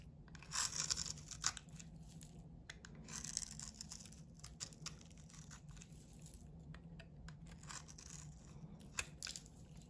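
A hand-sized solid bar of soap with a blue painted coating, partly shaved down to white soap, is scraped with a box-cutter blade into curls. Bright, crisp scraping and crunching strokes come in bursts over a soft low hum, with a few sharper clicks as the blade catches.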